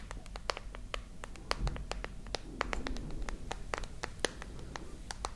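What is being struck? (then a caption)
Smartphone with glass back and metal frame. Long nails tap and scratch the glass back and metal frame of a dark glass and metal smartphone held close to the microphones. A rapid, irregular series of sharp, bright clicks sits over soft, low rumbling scratches, each tap dying away almost instantly.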